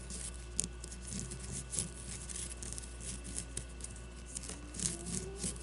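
Long nails scratch and tap a solid leather baseball held upright on a table, working over the leather and its stitching. The clip is a quiet, steady patter of soft scratches, with brief bright taps standing out above a low, constant hum.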